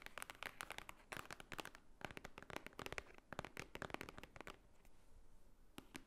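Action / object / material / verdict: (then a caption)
tap / thick stack of paper, book-like block / paper / none. Long painted fingernails tap and scratch on top of a thick, solid, book-like stack of white paper lying flat on a table. Quick bursts of sharp, dry clicks come in clusters with brief pauses, followed by a quieter stretch of soft scratching and a few final taps.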